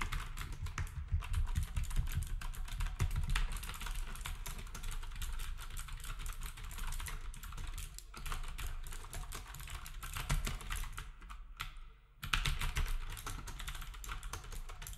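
Fingertips type steadily on a black compact plastic typewriter-style keyboard with round plastic keycaps, while other devices nearby stay untouched. Rapid, dense clicking and tapping comes with a strong low thump under each keystroke, and every click dies away almost at once. The typing drops off briefly near the 12-second mark, then picks up again at the same pace.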